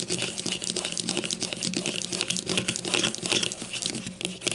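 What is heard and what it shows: A grey plastic deodorant stick lies on its side on a table, held by one hand while the other taps and scratches it with long matte nails. The result is a dense, continuous stream of bright, crisp clicks and scratchy crinkling, with a faint low hum running underneath.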